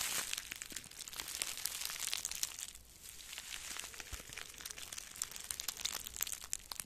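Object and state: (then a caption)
Plastic bubble wrap. Two small wads of plastic bubble wrap, one in each hand, are crumpled and squeezed with the fingers. The result is a steady, bright crinkling full of quick crackles and pops, easing briefly around the three-second mark before picking back up.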